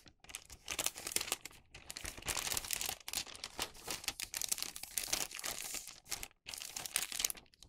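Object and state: Wax paper bag being crinkled.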